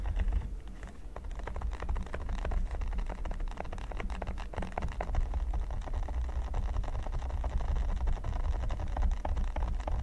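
Fingertips and nails tap rapidly on a flat, solid red silicone pyramid mat. The result is a dense, steady patter of short, dry clicks over a constant low rumble.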